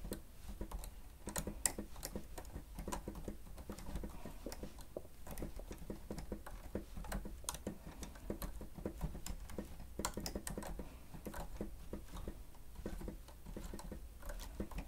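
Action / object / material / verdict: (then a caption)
tap / plastic stenotype keyboard / plastic / none. Fingertips of both hands press and tap the keys of a grey plastic stenotype keyboard with a hollow housing while typing. Quiet, rapid, irregular clicks and taps run steadily throughout. Each has a short, dry bright tick over a dull, low, hollow thud.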